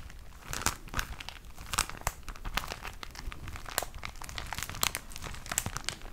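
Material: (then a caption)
Plastic film. A plastic-wrapped pack of tissue paper is squeezed and crinkled by hand, giving a steady stream of dry, crackling crinkles for about six seconds. Sharp, bright snaps of the plastic stand out over a softer, continuous rustle, each dying away almost instantly.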